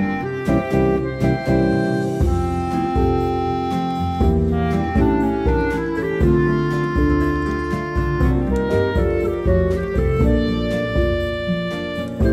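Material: Nothing is struck.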